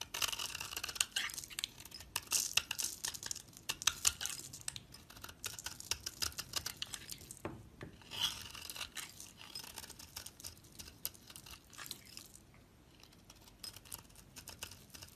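A utility knife blade shaves strips across the surface of a solid dark brown bar soap held in the hand. The result is a dense run of crisp, bright scraping and crackling, with many quick, sharp ticks and almost no low end. The cutting is loudest early on, then grows softer and sparser toward the end.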